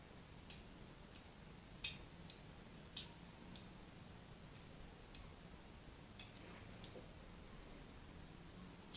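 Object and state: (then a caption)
Bar of soap being scored with a blade. A thin metal needle or blade scores a hand-held solid bar of pink-and-white striped soap in repeated scratch cuts, while a plastic slinky sits untouched nearby. Short, bright, crisp scratching clicks come at irregular intervals over a quiet, steady low background hiss.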